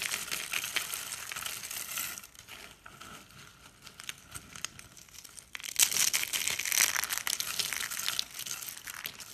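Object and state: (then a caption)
Dry, brittle soap curls. Solid, brittle pink and blue dry-soap flakes and curls are crushed in the hand and crumbled between the fingers. The result is a dense, bright, crinkly crunching with no low end, easing to a quieter crackle in the middle before a louder burst of crunching returns near the end.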